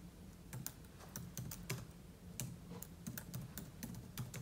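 Fingertips type quickly on the plastic keys of a silver aluminium laptop, producing a dense run of around sixteen short, bright clicks over a steady low hum. The taps are soft and quick-decaying, irregularly spaced across the clip.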